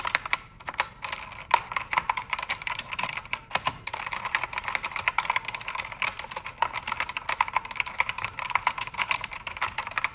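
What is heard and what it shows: Fast typing with fingertips and nails on a full-size black mechanical keyboard with plastic keycaps and cycling backlight colors. The result is a dense, steady stream of sharp, bright clicks and clacks, each dying away almost instantly, with a hollow tone around 950 Hz and very little low end.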